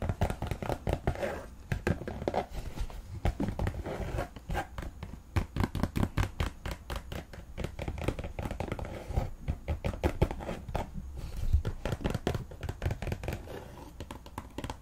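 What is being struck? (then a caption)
Synthetic knit football boot. Long nails rapidly tap and scratch the synthetic knit mesh upper and white laces of an empty white Nike soccer cleat held in the hand. The result is a dense run of soft, dull, low-pitched taps mixed with faint scratchy rustling, with no ring after each hit.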